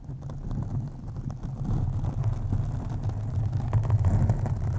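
Long acrylic nails on both hands scratch a black foam windscreen on a USB microphone. The result is a dense, muffled rumbling scrape concentrated in the deep low end around 90 Hz, with almost nothing bright. It grows steadily louder after the first second and a half.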